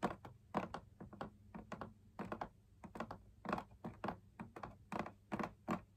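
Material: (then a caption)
Fabric. Fingertips tap the outside of the perforated fabric wall of a fabric-laminated drum lamp shade in a quick, uneven run of taps. Each tap is a soft, dull thunk that dies away almost at once, over a faint steady low hum.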